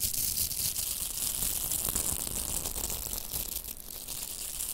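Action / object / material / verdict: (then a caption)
scrape / plastic hair rollers with nylon hook bristles / plastic, nylon / none. Two pink hollow velcro hair rollers, with plastic mesh cores and nylon hook bristles, are held together and rubbed and scratched with long manicured nails and fingertips. A steady, dense, bright scratchy crackle runs throughout, with a faint low rumble underneath.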